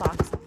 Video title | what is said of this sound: RESELLER LIFE - my setup - VIEWER QUESTIONS ANSWERED - tips and tricks | close the box and shake it. If you hear things moving around, even if they're not breakable, add some more cushion